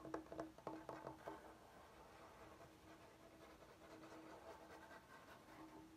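Fingernails tap and scratch the edges and face of a large, solid bamboo cutting board with a groove. About six quick, quiet taps in the first second and a half give short woody knocks with a faint tone near 450 Hz. They give way to a soft, steady scratching that continues to the end.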